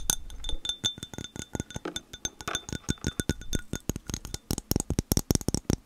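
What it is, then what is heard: Glass globe ornament. Long painted nails tap rapidly on a small hand-held ornament: a hollow, clear glass sphere partly filled with a yellow flower and granules. Each tap gives a short, bright glassy clink with a faint high ring. The taps come in a quick, uneven stream that grows louder and denser toward the end.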